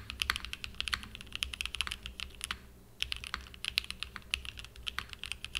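Fingertips type continuously on a small 60% mechanical keyboard with a purple aluminum case and cream and purple plastic keycaps, resting on a desk mat. Rapid, bright clacky key presses with very short decay are heard, with a brief pause near the middle before typing resumes.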